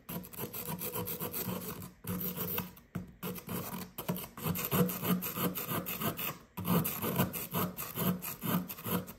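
A hand with red nails holds a fist-sized solid blue plaster excavation block from a gem-dig kit, resting on kraft paper, and scrapes it with a small blue plastic digging tool. Rapid, gritty scraping strokes rasp on and off with a low, dull body, pausing briefly a few times. Dust and crumbs break off the block.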